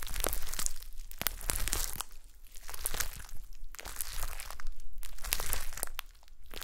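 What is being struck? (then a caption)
Glitter slime. A soft, solid blob of shiny gold glitter slime on a white table is pressed and poked with long manicured nails and fingertips. The result is a fast, uneven stream of bright, crinkly crackles and wet squishing pops over a low, muffled rumble.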